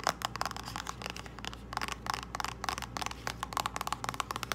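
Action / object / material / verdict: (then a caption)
tap / small cardboard box / cardboard / none. Long nails tap and scratch a small, hollow purple cardboard false lash box. About twenty quick, sharp, dry clicks with a hollow ring near 1.2 kHz sit over soft scratching and a steady low hum.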